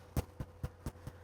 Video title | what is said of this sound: Bird Bread | you want to be able to tap it and hear that it's, you know, solid in there.